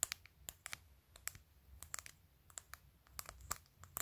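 Long pointed acrylic nails tap and scratch a clear glitter plastic phone case covered in rows of glued-on matte acrylic press-on nails, on a phone held up close, working over the case surface and its top edge. About seventeen quick, bright clicks sound out, each dying away almost instantly, with faint scratchy rustling between them over a quiet low background.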